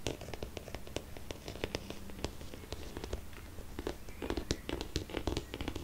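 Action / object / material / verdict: tap / hard-shell faux leather glasses case / faux leather / none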